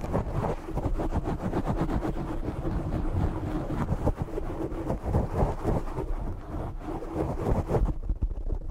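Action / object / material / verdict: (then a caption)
scrape / foam microphone windscreen / foam / none. Fingertips and short nails scratch and tap rapidly on the black foam windscreen of a desk microphone, producing a dense, muffled, bass-heavy rustling with irregular soft thumps. The scratching runs steadily for about 8 seconds, then drops off to near silence.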